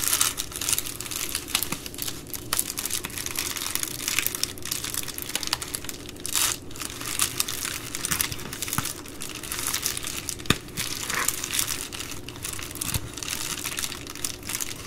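Hands with long nails press and roll over the top edge of an empty Amazon Prime poly bubble mailer, crinkling the plastic. The result is a steady, dense stream of bright, crackly crinkles with many sharp little snaps and a faint low hum underneath.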